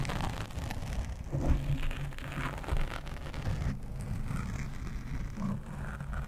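Long nails of both hands rapidly scratch a black foam windscreen on a microphone. The result is a dense, continuous rustling rumble concentrated in the low end, with brief louder swells and very little high sound, resembling heavy rain.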